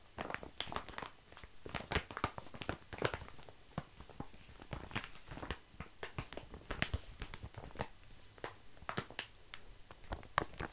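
A flat, crinkly, yellowish, hand-sized plastic-wrapped snack package with a grated or flaky-looking filling is held in the hands while fingertips and short nails scratch and squeeze the wrapper. It gives a dense run of sharp, dry crackles and crinkles that stop instantly, spreading bright across the highs over a soft, low rustle.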